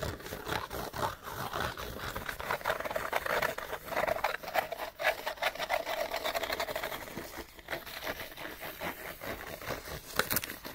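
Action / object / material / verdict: scrape / cardboard light bulb box / cardboard / none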